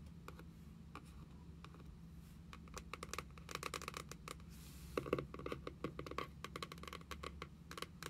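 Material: Cardboard.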